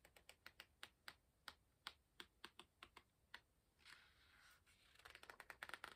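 Fingertips turn and rub the paper pages of an open hardcover book. A quiet run of short, dry, bright paper ticks gives way to a soft papery swish, then a dense burst of crinkly crackles.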